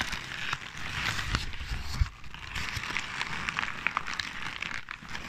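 A large sheet of crumpled white and grey paper is held close to the microphone and crinkled and squeezed by hand. It makes a steady, dense crackling with bright rustle, low handling rumble, and scattered sharp snaps and pops throughout.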